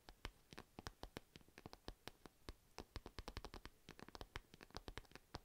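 Long nails scratch across the printed surface of a purple padded fabric cat-shaped pencil case. The result is a quiet, rapid series of short, dry scratches, each a brief bright tick with a soft low thump, and almost no ring between strokes.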